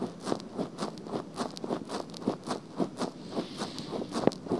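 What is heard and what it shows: Long painted fingernails scratch across the hollow pink soft silicone ear cover of a black binaural microphone. About twelve soft, rough scratching strokes repeat at an uneven rhythm, each a brief papery rasp centered in the low mids with faint bright edges.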